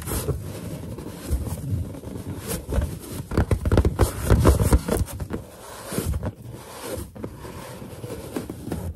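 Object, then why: Inflated latex balloon. Fingers rub across a large, hollow, inflated white latex balloon while long nails scratch and tap its surface. The sound is a low, rumbling rub with scratchy, irregular bursts of taps that peak in the middle of the clip, then settles into softer, steady rubbing.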